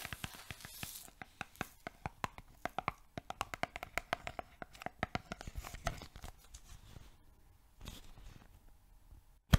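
A yellow cylindrical cardboard oat flakes canister, apparently filled, is tilted and shaken while long nails tap around its lid area. Dozens of quick, sharp, dry clicks and taps ring out over a soft crinkly rustle, with short bursts of shaken contents in between. The clip ends on one louder snap.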